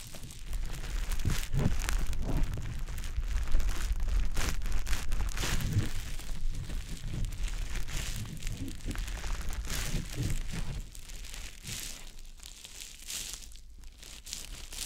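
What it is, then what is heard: Wet konjac sponge puff. A small, soft, damp green konjac sponge puff is held in the fingers and rubbed and pressed over the silicone ear of a dummy-head microphone. It makes a steady run of wet, crackly squishing and rubbing sounds with a deep, muffled low rumble. The sounds grow quieter and sparser toward the end.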